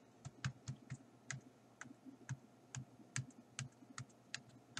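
Fingertips and nails tap and drum on the blank pages of an open paper sketchbook lying flat on a table, a flat, solid stack of sheets. About fourteen quiet, irregularly spaced taps sound, each a soft, dull low thump with a brief bright click from the nails. Every tap dies away almost at once.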